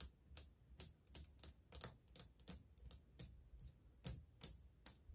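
Long painted fingernails tap on the glaze of old, glazed white ceramic subway tiles on a solid wall. About fourteen bright, sharp clicks come at an uneven pace, each dying away almost instantly with a faint low thud beneath.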